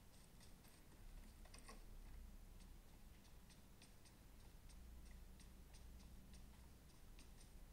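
Gloved thumbs tap repeatedly on the glass touchscreen of a small, solid iPhone held sideways during gameplay. Faint, bright, irregular ticks and clicks sound over a quiet, steady low rumble.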